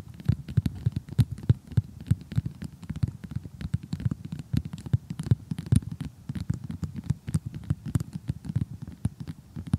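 Long glittery glass-effect fingernails tap rapidly on an assembled cardboard jigsaw puzzle with a glossy printed cartoon picture, lying flat. The result is a fast, uneven patter of dull, low, muffled taps that stop dead with no ring, continuing steadily throughout.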